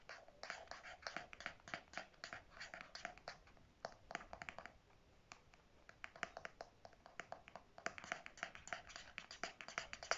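Fingernails tap and scratch the hard plastic flip cap of a pink conditioner squeeze tube held in the hand. The result is a rapid, uneven run of dozens of sharp, dry clicks and scrapes with very little ring, plus a quieter stretch midway.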